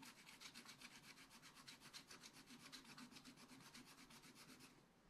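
A wooden stylus scratches a lemon shape into a black-coated scratch art paper page, making quick, steady back-and-forth scraping strokes. The strokes are dry and bright, with a faint low hum beneath them. They stop just before the end.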